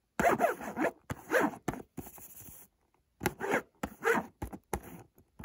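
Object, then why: Cardboard box. Fingertips scratch and rub across the front of a hollow white cardboard Montblanc perfume box (75 ml eau de toilette) held in one hand. The result is a series of dry, rasping scratches in short bursts, with a brief quiet gap in the middle.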